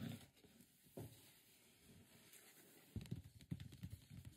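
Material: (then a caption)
Cardboard. Fingertips and palms rub and tap the lid and sides of a large, closed, hollow, printed white cardboard microphone box whose contents are not visible. Quiet brushing gives way to soft, dull, low thumps that die away almost instantly, with a cluster of quicker taps near the end.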